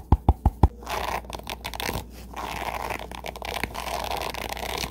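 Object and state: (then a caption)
Wooden hairbrush with plastic bristles. A wooden-handled hairbrush with dense dark plastic bristles with light tips is held close, as fingertips and nails scratch and rake across the bristles, with some handling of the wooden handle. Four sharp, quick knocks open the clip, followed by a steady, dense raking and scratching texture with a few brighter clicks over a low background hum.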